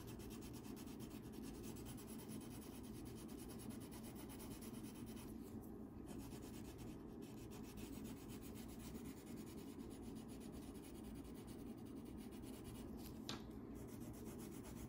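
A yellow wax crayon held in the fingertips rubs and scribbles across a thin printed paper coloring page lying flat on a wooden table, held down by one hand. A steady, soft, dense rubbing texture continues throughout, mostly in the low and middle range.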